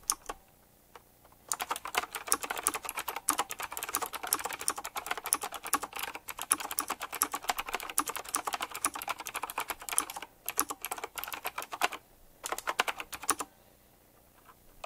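Fast fingertip typing on a retro typewriter-style mechanical keyboard with round plastic keycaps set in chrome rings, producing dense, bright, sharp clicks with almost no ring. A few isolated taps open the clip, then a long rapid burst runs from about 1.5 to 10 seconds. Shorter flurries separated by brief pauses follow, and the clip ends in near-silence.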